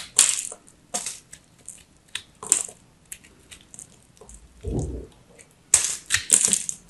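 A craft knife cuts into a solid, dry, crumbly teal soap ball held in the hand, so crumbs break away and fall. It makes a series of short, sharp, bright crunching scrapes with very little ring. A softer, lower rustle comes midway, and a cluster of louder crunches closes the clip.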